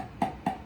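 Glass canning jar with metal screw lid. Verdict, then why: Hollow. Three quick taps on the metal lid of a freshly filled glass tomato canning jar, with a rubber seal and a hand-tightened lid, before processing. Each produces a short, hollow knock around 965 Hz that dies away almost at once. The hollow sound means the lid is not yet sealed; once the jars are processed and cooled, a tap should sound solid, showing they have set.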